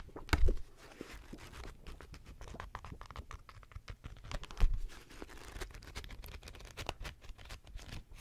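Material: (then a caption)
Paper. Long nails scratch a paperback manga book with paper pages held close by, and the pages are riffled and fanned in a dense, low-heavy patter of soft ticks and rustles. Two louder thumping flutters stand out, one near the start and one about halfway through.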